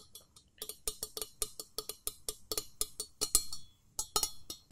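A pouring jug is tapped in a quick, uneven series of about twenty light taps, each a short, dry, bright click with a faint clinking ring and little low body.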